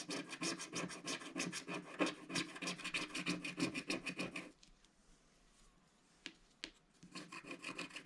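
A wooden stick scratches and rubs the black coating of a flat, solid scratch-art card page in short, quick strokes, giving a steady, bright rasping rhythm. The scratching stops for a couple of seconds, leaving near silence broken by two soft ticks, then the rapid strokes resume.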